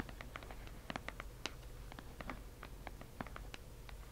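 A delivered cardboard subscription box is tapped with quick, light taps that produce short, dry, bright clicks. The taps come in an uneven series over a steady low hum and fade almost immediately.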